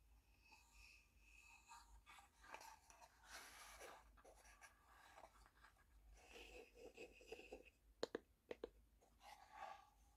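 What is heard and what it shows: Long painted fingernails scratch and tap the printed face of a small, hollow, rectangular wooden Richmond Hill Earl Grey tea box, held up with its lid closed. Quiet, soft scratching and rustling fill most of the clip. Near the end come a few sharp, hollow, woody taps that die away almost at once.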